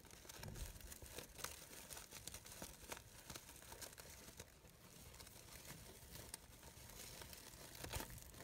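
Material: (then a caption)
Synthetic fabric. A green glittery fabric rose brooch with glitter-edged synthetic petals is squeezed and rustled with fingertips and long nails. The layered petals give a steady, close crinkling and crackling rustle with many bright, quick ticks throughout.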